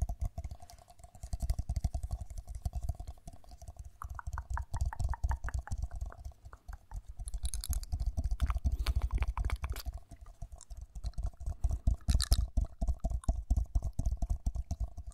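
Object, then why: Ceramic mug. Long nails tap and scratch the outside of a hollow, empty-looking pink matte ceramic mug with a handle and printed lettering, held close to the microphone. Quick, irregular, dense tapping mixes with scratchy rubbing. Each tap is soft, bass-heavy and dies almost instantly, with a short run of brighter ringing clinks in the middle.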